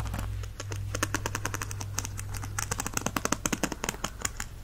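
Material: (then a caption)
Plastic. A white plastic stick is dragged and strummed across the dense plastic bristle tips of a black and teal plastic paddle hairbrush held in one hand. The result is a rapid series of sharp, clicky plucks with a steady low hum underneath.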